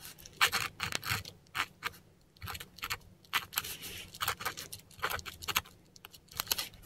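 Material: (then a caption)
Paper. A metal dip pen nib scratches German words in ink across a flat, textured Korean paper sheet. Short, bright, scratchy strokes come in quick bursts separated by brief pauses, with each stroke ending sharply and a faint low hum underneath.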